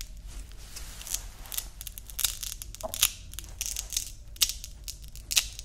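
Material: Nylon.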